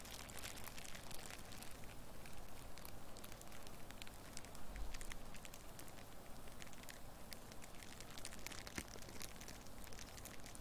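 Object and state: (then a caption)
Crumpled clear plastic wrap. A loose, light sheet of crumpled clear plastic wrap or cellophane is held in one hand close to the microphone and squeezed and scratched with long nails and fingertips. It makes a steady, dense crinkling, with sharp, bright crackles over a low background rumble.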